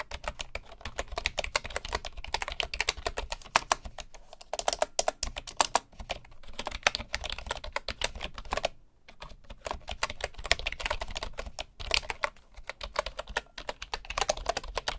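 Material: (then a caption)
Bamboo. Fingertips type steadily on the wooden keys of a bamboo wooden computer keyboard, making rapid, dry, bright clicks that stop almost instantly. The typing runs in quick bursts with a brief pause near the middle, over a faint low background hum.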